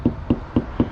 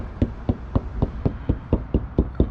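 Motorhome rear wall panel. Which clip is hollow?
The second.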